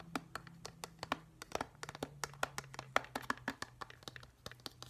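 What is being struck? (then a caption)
Plastic whale-shaped night light. Fingertips and nails tap and scratch a hand-sized, hollow, glossy plastic whale-shaped night light with a pale blue-grey top and white base. The result is a quick, irregular run of dry, clicky taps with bright edges and almost no ring, over a faint, steady low hum.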